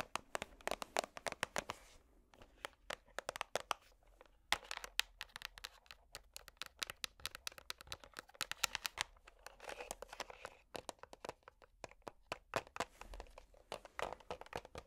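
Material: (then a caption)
Plastic. Metal finger picks tap rapidly on the lid and sides of a small, hollow, clear plastic organizer box whose compartments hold small colorful beads. The result is quiet, dense bursts of sharp, bright clicks that stop dead with no ring, separated by brief pauses.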